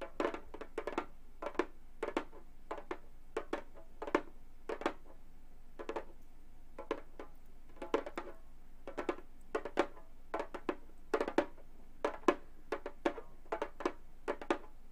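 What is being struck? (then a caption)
Frame drum with synthetic skin head. A hollow Remo frame drum with a synthetic skin head is tapped with gold metal claw finger caps on both hands. The result is a quiet, irregular series of short, dry, clicky taps with a mid-pitched body that dies away almost instantly, sometimes in quick flurries and sometimes spaced apart.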